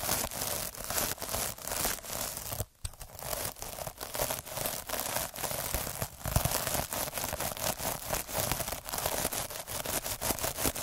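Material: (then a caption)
Plastic. A hand-held derma roller with metal needles is rolled over a puffy, sparkly iridescent plastic mesh scrub sponge, its needles scratching the mesh. The result is a steady stream of dense, bright crinkling and crackling scratches in rapid pulses, with a brief silent gap near the three-second mark.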